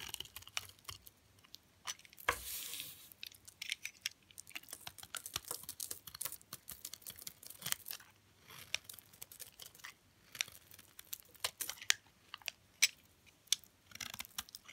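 A utility knife blade shaves and cuts pieces from the corner of a solid, hard green olive oil soap bar held over a pile of flakes. The result is a dense run of sharp, dry, crisp scraping and crunching clicks, bright and high with almost no low end. A loud burst of shaving rasps near the start.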